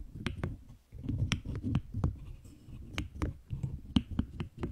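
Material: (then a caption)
Plastic. Long green acrylic nails tap and click on a large cube-like object covered in pastel pink and blue plastic keyboard keycaps, held in both hands. Sharp, short, bright clicks come in an irregular rhythm over a low, muffled handling rumble.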